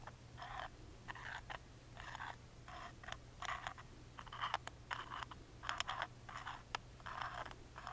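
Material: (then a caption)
Plywood. A wooden toothpick scratches along the engraved lines of a small hollow plywood music box lid held in hand. It makes a series of short, quiet scraping strokes with a dry, mid-pitched rasp, separated by brief pauses over a steady low hum.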